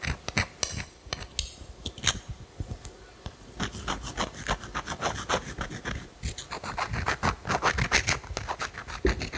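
A single small, solid grey pebble held in the fingers close to the mic is scratched with long manicured nails. It makes a quick, irregular run of dry, bright rasping scratches with short clicky attacks and little ring. A quieter stretch near the start gives way to denser, busier scratching.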